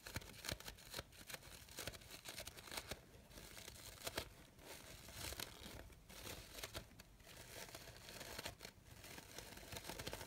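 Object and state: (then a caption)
Organza fabric rose being crinkled. A light-blue organza fabric rose has its petals pressed and crinkled by fingertips and long nails. The sound is a continuous, bright crinkling and rustling with quick crackling spikes, quiet overall.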